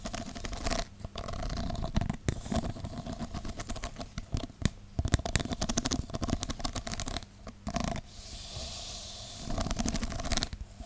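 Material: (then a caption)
Plastic. Long dark-painted nails scratch and tap along the ribbed sides of a tall nested stack of thin, hollow, translucent plastic cups held in the hand. Dense bursts of crisp, dry clicks and raspy scrapes alternate with brief quieter stretches, with a soft hissy scratch near the end before the tapping picks up again.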